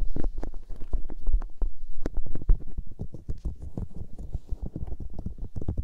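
Long-nailed fingertips and palms rub, cup and press the soft, hollow white silicone ears of a 3Dio binaural microphone. The result is a dense, irregular stream of muffled, low thumps and brushing pats, with quick dull taps between them and no ring.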